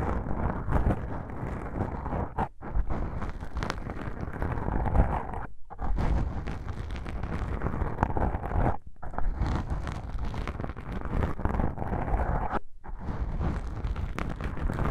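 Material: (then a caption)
Foam. Long pink nails and fingertips scratch and squeeze black foam microphone windscreens, producing a dense, muffled, low rumbling scrape with almost no bright content. The rustling runs continuously, broken by a few brief silences where contact stops.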